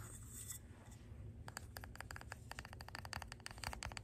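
Long gold acrylic nails scratch and tap a red glass candle jar filled with wax, held close, including its labeled bottom. A brief bright, hissy scratch opens the clip, followed by a pause and then a rapid run of short, sharp clicking taps with a ringing tone around 1.8 kHz. A steady low rumble sits underneath throughout.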